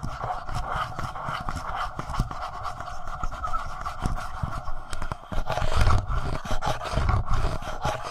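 Fingertips of both hands tap and scratch the front of a black, palm-sized, hollow plastic Tascam portable recorder. A dense run of quick, dull low thuds mixes with a steady scratchy rasp, with a few louder knocks near the end.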